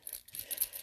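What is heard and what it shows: A bottle of slow-drying dark roast silk paint is shaken to mix it, and the small BB mixing ball rattles inside. The result is a quick series of faint, bright, high-pitched clicks, with no deep body.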